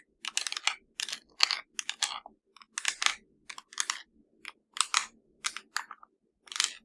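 An LG plastic TV remote control is tapped and scratched with the fingers. Quick bursts of crisp, bright clicking and rasping scratches come in short flurries separated by brief silences. The sound is dry and high-pitched, with no low rumble.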